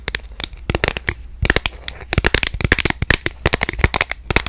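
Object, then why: Smartphone in a plastic case. Long nails tap rapidly on the back of a smartphone in a purple plastic case, held horizontally in both hands. The result is a fast, irregular stream of sharp, dry, bright clicks that stop instantly with no ring, over a faint steady low hum.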